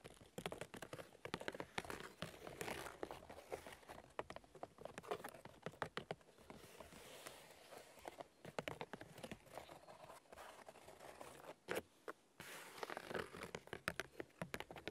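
Fingernails tap and scratch the white bark of a large, solid birch log. Dry, crinkly scratching runs throughout, broken by many quick, sharp taps and a few brief pauses. The sound stays quiet, with a papery, bright texture.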